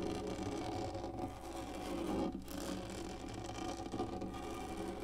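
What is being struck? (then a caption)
Textured plastic lap tray. Long nails of both hands scratch the textured top of a black hollow plastic lap desk. The result is a continuous, dense scraping and rustling with a steady low hum and a mid-pitched tone around 330 Hz, briefly swelling and dipping near the middle.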